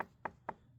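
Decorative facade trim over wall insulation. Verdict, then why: Hollow. Three short, hollow knocks on a decorative facade trim piece around the base of a house wall, mounted over the insulation. Each knock is a brief, dull midrange tap with almost no ring. The hollow sound shows the trim has separated from the wall and could easily fall off.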